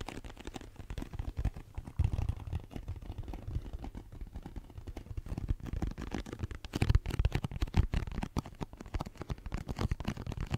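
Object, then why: Cardboard tissue box. Long nails tap and scratch the flat side of a hollow, cube-shaped pink cardboard tissue box held up in both hands. The result is a dense run of quick, dull, low thumps with a faint scratchy texture, each dying away almost instantly. Louder bursts come around two seconds in and again near seven to eight seconds.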